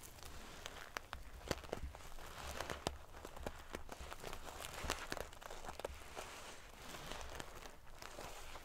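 Fingernails scratch and ruffle the silver metal paillettes covering a sequin pillow. The result is a dense, crinkly rustle scattered with sharp, bright clicks and ticks of the metal pieces over a soft low rumble.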